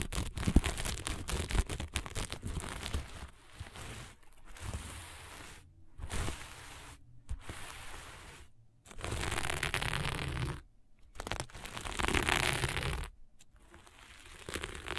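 A flat sheet of fabric covered in small plastic sequins is scratched with long nails and stroked by hand. It makes fast, irregular crinkly scratching and rustling in dense bursts, broken by brief silent gaps. The scraping sweeps up into bright, hissy highs over a low rumble.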